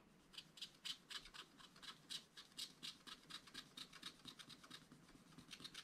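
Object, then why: Wax-coated scratch-art paper scratched with a wooden stylus. A wooden stylus scratches vertical lines into the black wax coating of a small spiral-bound scratch-art paper pad. A rapid, somewhat uneven series of short, dry, bright scratching strokes comes at about four per second over a faint low background.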